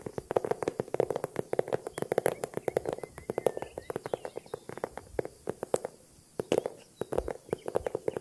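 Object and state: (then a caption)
Small handbag, tapped. A small handbag is tapped rapidly with many quick, dry taps in an irregular rhythm. Each tap is short with almost no ring, with a muted, mid-range tone around 500 Hz. There are brief pauses near the six-second mark.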